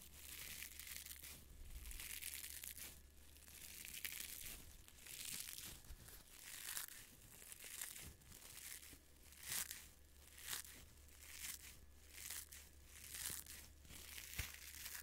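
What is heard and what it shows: A small yellow-green nylon mesh scrubber is squeezed and crumpled in one hand with the fingers. It makes bright, crinkly, crackling rustles that swell and fade in repeated waves. A faint steady low hum runs underneath.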